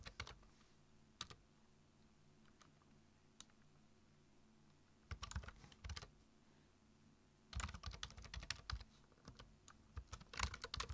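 Fingertips tap the keys of a black plastic computer keyboard in short bursts of typing separated by quiet pauses. Each keystroke gives a brief, bright click over a low, steady hum, with the busiest typing near the end.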